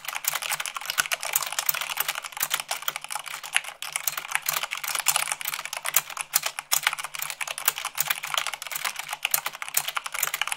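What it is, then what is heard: Mechanical keyboard being typed on. Fingertips with long pink nails type fast, at about 98 words per minute, on a full-size mechanical keyboard with white plastic keycaps on a black frame. A dense, steady stream of crisp, bright key clicks and clacks is heard, each one short and dry with almost no low end.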